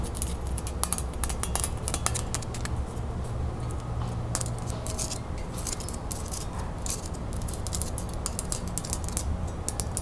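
A thin, delicate gold metal tiara set with pearls and rhinestones is held in the hands while long nails tap and scratch its metalwork. The result is a fast, steady stream of tiny bright clicks and metallic ticks over a low, constant hum.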